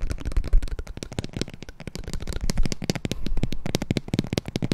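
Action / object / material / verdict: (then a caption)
tap / paper-covered cardboard gift box / cardboard / none. A mid-size, green, Gucci-branded, paper-covered cardboard gift box, hollow and apparently empty, is held next to the recorder and tapped and scratched on its flat sides with long nails. The result is a fast, dense stream of short, dry clicks and scratches. Each tap carries a hollow, low thump under a crisp, bright edge that dies away almost instantly.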